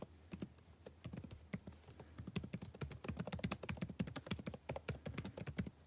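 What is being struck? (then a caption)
Plastic laptop keyboard. Fingertips type densely on a backlit laptop keyboard with plastic chiclet keys, the same keyboard throughout. The result is a rapid, uneven stream of short, dry clicks and taps, each with a low thump and a brief bright tick that fades quickly.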